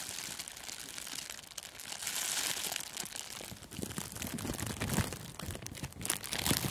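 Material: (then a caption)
Plastic film. A thin sheet of clear plastic cellophane gift wrap is stretched and crinkled by the fingers, then draped over a furry microphone windscreen. Dense, bright crumpling and crinkling crackles fill the clip, with sharper, louder crunches in the second half.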